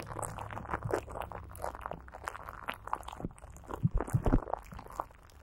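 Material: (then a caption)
Plastic film. Greasy fingertips rub and pat clear plastic film stretched over a hollow microphone grille and coated with Vaseline. The result is a dense run of soft, crunchy, crinkly taps and sticky smears with a heavy, muffled low end and little brightness. A few louder, thumpier pats come through near the four-second mark before the clip fades quieter.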